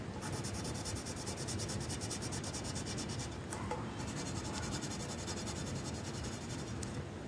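A yellow wooden colored pencil is rubbed quickly back and forth across a flat paper coloring sheet. The result is a steady, rhythmic scratching with bright, raspy high tones over a low rumble. There is a brief pause in the strokes partway through.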